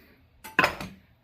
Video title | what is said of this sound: Making a ramrod #muzzleloadingrifle #blackpowder #hawken #guns #diy #shooting #hunting #deerhunting | When it sounds solid, it is solid, and that's not pulling off.